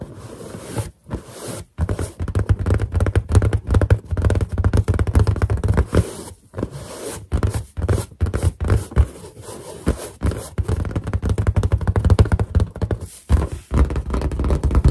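Finger pads rub and squeak across a large, hollow, inflated white latex balloon, with some nail scratching mixed in. The result is a dense stream of rubbery squeaks and scrapes, heavy and boomy in the low end around 100 Hz, broken by a few brief pauses.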